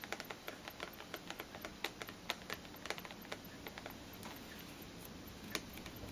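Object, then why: Cardboard perfume box. Long nails tap the sides and top of a small rectangular printed cardboard perfume box, possibly with the bottle inside, held upright on a table. About 25 quiet, crisp, clicky taps come in quick irregular succession, each dry and gone almost instantly over a soft background hiss.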